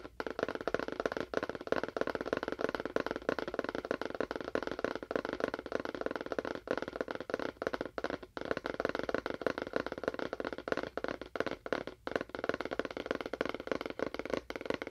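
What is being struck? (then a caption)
Small cardboard box. A small, hollow, rectangular cardboard box with a faux wood finish is held in both hands and tapped with fingernails on its face and sides. The result is a steady stream of rapid, dry clicks that stop almost instantly. Each tap carries a hollow mid-range tone with little low or bright content.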